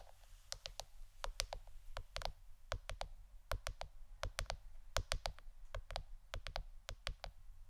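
A plastic board shaped like a shirt is tapped with the fingernails, giving a quick, irregular run of sharp, bright clicks that die away almost instantly. A steady low hum sits underneath throughout.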